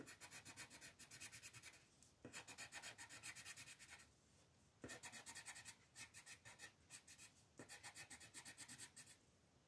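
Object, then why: Colored pencil on a paper coloring page. A green colored pencil makes fast rubbing and scratching strokes along the outer petals of a printed mandala on a flat white paper sheet. The strokes come as quick, raspy bursts grouped into four runs with brief pauses between them, their sound mostly bright and hissy with little low end.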